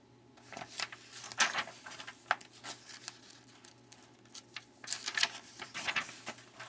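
Fingertips rub and tap across the spread of an open glossy paper magazine lying on a wooden table, then turn the page. The sound is a run of crisp, bright paper rustles and short, dry taps with no ring, quiet between bursts, with a louder crackling flurry as the page turns.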